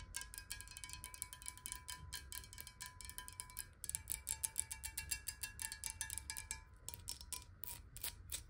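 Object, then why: Glass water bottle. Long nails tap rapidly on the sides of a clear, square-sided glass water bottle that is hollow and partly filled with water, held upright and then tilted. Dense, bright clicky taps ride over a steady glassy ringing tone that shifts slightly in pitch as the bottle is tilted, with a soft low rumble underneath.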